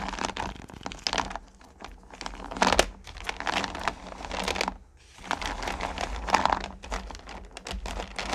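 Hands with long nails scoop handfuls of small solid pumpkin candy corn from a purple plastic pail and let them drop back in. The result is a dense, bright rattling and crinkling of many tiny pieces tumbling against each other and the plastic. Two louder swells of pouring are separated by a brief near-silent pause.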